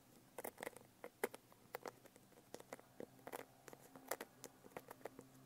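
Long nails tap on a medium hardcover notebook with an iridescent holographic foil cover, first on the cover and then along the spine and edge. Roughly two dozen quick, dry, light taps and clicks come in an irregular patter, each dying away almost at once against a quiet background.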